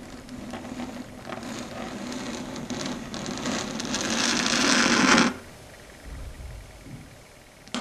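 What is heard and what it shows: Long red stiletto nail tips tap and click rapidly on a flat, solid, dark grey chalkboard surface, producing dry, bright clicks over a scratchy rustle. The tapping grows steadily louder and denser, then cuts off abruptly after about five seconds, leaving near-quiet with a few faint soft taps.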